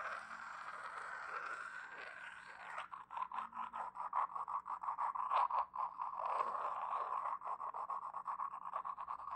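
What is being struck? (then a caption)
Glazed porcelain egg cup. A small, hollow, empty white glazed porcelain double egg cup is held in both hands and rubbed and scratched with long painted nails and fingertips. A steady, smooth rubbing hiss gives way after a few seconds to quick, uneven scratching strokes, with a dry midrange tone and faint bright edges.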